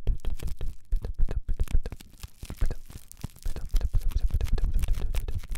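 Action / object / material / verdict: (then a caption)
scrape / crumpled plastic cling wrap ball / plastic film / none. A single small wad of clear, crumpled plastic cling wrap is held in the left hand next to the microphone while the right fingertips and nails scratch and squeeze it. The result is dense, irregular crinkling and crackling with sharp, bright snaps over a heavy close-up low rumble. The crinkling eases into a softer stretch in the middle before picking up again.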